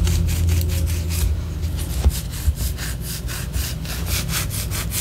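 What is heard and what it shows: A large white solid wax pillar candle, held in the hand, is scratched with long orange acrylic nails. Quick bright rasping strokes repeat at a little over two per second, slightly uneven, over a steady low rumble. A couple of sharper taps stand out near the middle.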